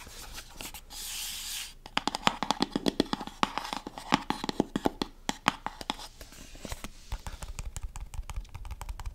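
Long painted nails tap and scratch the sides of a small, hollow, brown cardboard cosmetics box held in one hand beside the microphone. A soft, bright scratching rasp comes first, then a quick run of sharp, dry taps with almost no ring. The tapping continues more lightly to the end, with some duller, lower knocks.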